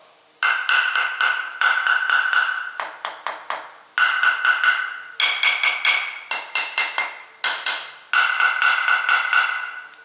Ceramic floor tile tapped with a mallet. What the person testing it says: 확실하게 소리가 비어 있음이 느껴지죠